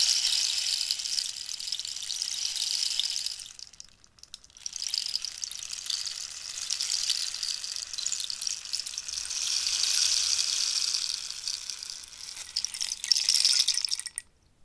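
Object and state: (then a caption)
Cactus wood rainstick. A long, hollow cactus wood rainstick is held vertically and tilted, giving a bright, dense rushing hiss like falling rain, with long nails tapping and scratching the wood. The cascade fades to near silence around four seconds, then swells back for several seconds, dips, and surges once more before stopping abruptly near the end.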